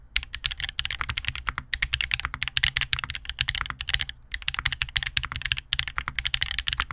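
Continuous typing with both hands on an Angle80 by Vertex 80% custom mechanical keyboard with GUGU HolyPanda switches, a copper plate, and black and beige plastic keycaps, sitting on a desk mat against a wrist rest. The result is a steady stream of quick, bright clacks centered near 3 kHz, each dying away almost instantly, with a soft low thump under each keystroke and a few brief pauses.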